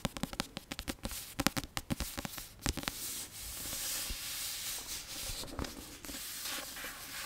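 Long nails tap quickly on the solid card cover of a Prisoner of Azkaban paperback, making sharp, dry clicks for the first three seconds. The tapping then gives way to a steady, bright scratching hiss across the cover, with a few more taps mixed in near the end.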